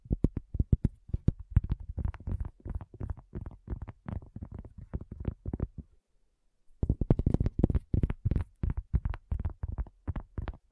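Long nails and fingertips of both hands tap rapidly on a round, flat, solid cork coaster about 20 cm across, lying on a black table with a small recorder resting on its front edge. The taps are soft, dull and low with almost no ring, coming in quick flurries. They stop for a brief pause, then resume.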